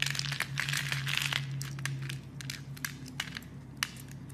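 A blade scrapes and carves crumbly shavings off the edge of a solid, hand-sized green bar of soap held by fingers with red nails. Dense, bright crackling scrapes come first, then thin out into sparser crisp snaps and crumbles. A steady low hum runs underneath the whole time.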